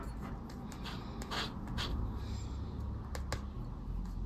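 A round black plastic disc scraper, held in the fingers, scratches the latex scratch-off coating of a flat, thin yellow paper lottery scratch card resting on dark fabric while the other hand holds the card. Soft, dry rasping strokes repeat over a steady low rumble, with a couple of brief, bright ticks near the end.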